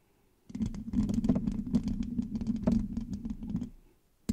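Long nails on both hands scratch and rub the rounded, hollow metal mesh grille of a black microphone. A dense, crackling scratch with a boomy low hum runs for about three seconds, then fades. A single sharp knock follows near the end.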